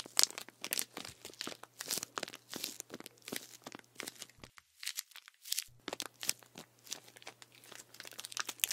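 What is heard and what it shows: Fingertips tap and scratch a full plastic sports drink bottle of green liquid with an orange cap, held in one hand, working over both the plastic and its crinkly label. Quick, bright crinkling ticks and scratchy rustles follow one another in an uneven stream, pausing into near silence for about a second midway before resuming. A faint low hum sits beneath the sounds except during that pause.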